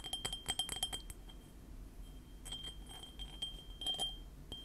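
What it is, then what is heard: Ceramic mug. A small white printed ceramic mug with Panda Kopanda cartoon prints, held in both hands, is tapped with painted fingernails. Quick, light clinks give a bright, high ring that sustains steadily under the taps, with a dense burst of tapping at the start, a quieter stretch, and another cluster near the end.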